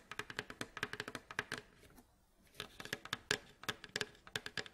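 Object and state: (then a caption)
Wooden mandolin bowl back. Fingernails tap and scratch on the hollow, striped, varnished wooden bowl back of a mandolin lying face down, near the neck joint and across the staves. About 26 quick, dry, bright taps with a woody midrange ring come in rapid bursts, separated by a short quiet pause in the middle.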